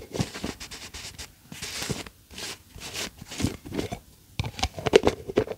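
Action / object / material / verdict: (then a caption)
tap / plastic tub with screw lid / plastic / none. Long acrylic nails tap and scratch the yellow screw lid and sides of a medium, hollow cylindrical plastic tub with a white label, held in hand. Short, dry clicks and bright, raspy scratching strokes come in irregular bursts with brief pauses between them. Each tap dies away almost at once.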